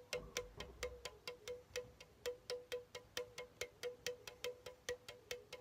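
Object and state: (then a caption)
Aluminum soda can. A pink Chupa Chups soda can, hollow aluminum, is tapped with fingertips, then tilted near the end to show its top. There are 25 quick, short, hollow taps at an uneven pace, each with a brief metallic ring centered near 490 Hz and bright upper overtones that fade almost immediately.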